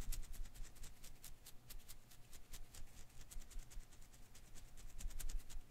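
A single blue and green Koosh ball of thin rubber filaments is first held and flicked with one hand, then held in one palm while the other hand's fingertips pluck its strands. A quick string of quiet, bright ticks and soft snaps sounds over a low, steady rumble, each click dying away almost at once.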